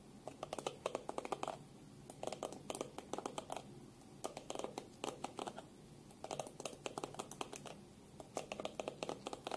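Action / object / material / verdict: tap / plastic hairbrush back / plastic / none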